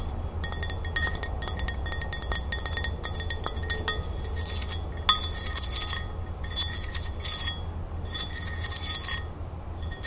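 A medium, thin, solid glazed white ceramic crown-shaped plate is held upright and tapped and scratched with long nails, while a large metal ring on the tapping hand may add faint clinks. Fast, bright clinking taps and scratchy strokes run continuously over a steady low hum, each tap ringing only briefly.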